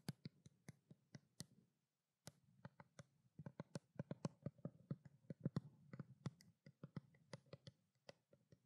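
Long black nails tap rapidly on a small, hollow, white plastic skincare water bottle, producing about thirty quick, dry clicks with a low, hollow thump beneath each one. The taps come in an uneven rhythm with a brief pause near the two-second mark, and each one dies away almost instantly.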